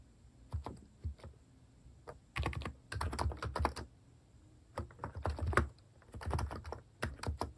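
Fingertips type steadily on a compact plastic mechanical keyboard fitted with plastic cat-design keycaps. The key taps are short, soft and deep, with little ring, and they come in quick bursts separated by brief pauses. A faint, steady high tone runs underneath.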